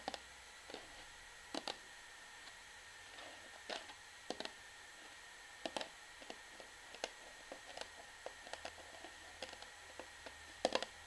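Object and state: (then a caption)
Plastic shampoo bottle. An orange plastic shampoo bottle is held sideways while long fingernails tap and scratch its flat bottom. Quiet, sharp, dry clicks and brief scratchy scrapes come at irregular intervals, each dying away almost instantly over a faint steady high tone.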